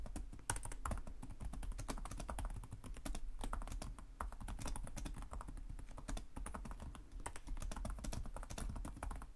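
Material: Plastic.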